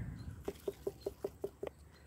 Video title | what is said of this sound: 1st time watermelon growing | Kind of sounds like a hollow door when you knock on them.